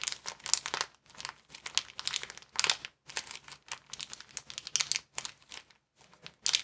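Fingers squeeze and crinkle a small, empty white plastic bag rolled into a tube. Bursts of sharp, bright crackling come in irregular clusters separated by brief silences, with almost no low end and no ringing after each crunch.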